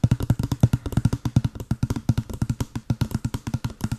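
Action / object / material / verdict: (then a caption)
tap / small cardboard box / cardboard / none. A small, hollow, white printed cardboard box held at the mic is tapped rapidly with long blue acrylic nails. It gives 32 quick, dull, hollow knocks, each with a deep boomy body around 120 Hz and almost no ring.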